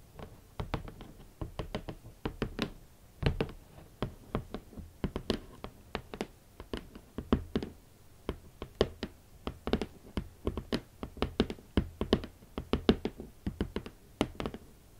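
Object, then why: Closed cardboard shoe box. Long nails and fingertips tap and knock on the lid of a large, closed, hollow red cardboard Valentino boot box. Rapid clusters of short, dry knocks with a hollow low thump around 220 Hz alternate with sharp clicky taps, each dying away almost instantly, in a steady, unhurried rhythm.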